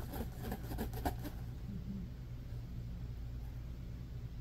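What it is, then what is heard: Plastic pop tube scratched. Fingertips and nails scratch and rub quickly along the ridges of a small, hollow, orange corrugated plastic pop tube toy held on a fleece blanket. A rapid series of bright, raspy scrapes fills the first second or so, then fades into a softer, steady low rubbing over a constant deep hum.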